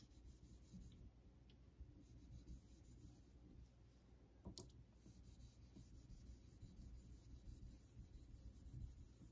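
A vintage Geneva Cutlery steel straight razor is stroked across a wet, solid pale synthetic Naniwa Super Stone clamped over a sink. The result is a quiet, continuous rubbing scrape, mostly low and rumbly, with a brief bright tick partway through.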